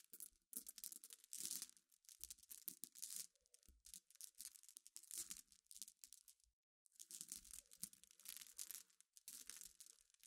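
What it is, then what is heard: Glass pebbles stirred by fingernails. Long nails scratch and stir a pile of small, clear, solid glass pebbles resting on black cloth. The result is bright, crisp clicking and rattling in dense, quick bursts. There is a brief pause just before the seventh second, then the stirring resumes.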